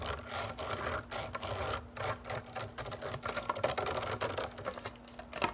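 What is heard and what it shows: Long nails rake and scratch across the many upright, flexible blades of a green plastic grass drying rack on a white base. The result is a fast, dense run of dry, raspy scratches and flicks, bright and hissy, rising and falling in quick bursts over a faint steady low hum.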